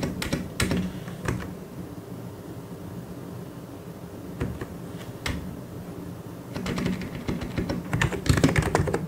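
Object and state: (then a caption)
Plastic mechanical keyboard being typed on. Fingertips of one or both hands type on a full-size white and grey mechanical keyboard with plastic keycaps. Irregular, quick clacks and taps have a low, thocky body, crisp bright edges and very short decay. Scattered sharper strikes stand out against a steady patter that is softer in the middle and grows busier and louder toward the end.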